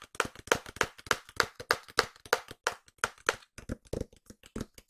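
A small, hollow white cardboard product box is held up in both hands and tapped with long nails. The result is a run of quick, dry, hollow taps with sharp bright clicks at an uneven pace. Toward the end the taps grow softer, quicker and duller.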